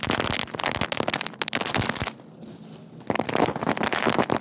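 Hands scoop up handfuls of loose, hard, small dried white beans from a wicker basket and drop them back onto the pile, making a dense, bright, rain-like pattering and crackling. The patter fades to a quiet lull partway through, then picks up again just as thickly.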